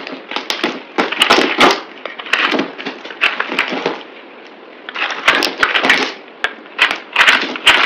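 A palm-sized, solid oval bar of green speckled soap is held in the hand and shaved and cut with a utility knife blade, with crumbs falling onto a pile, played at double speed. Dense, crisp scraping and crackling bursts fill the mid and high range with almost no low end, broken by a brief quieter stretch in the middle before the rapid cutting picks up again.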